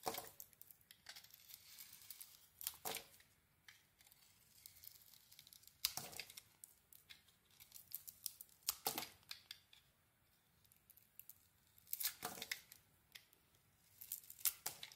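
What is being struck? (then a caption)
Soap bar shaved with a metal knife. A metal knife blade, held against the thumb, shaves thin strips off a solid white bar of soap with a bronze coating. The carving makes quiet, crisp, bright scraping and crackling strokes with almost no low end. The strokes come in short clusters separated by near-silent pauses.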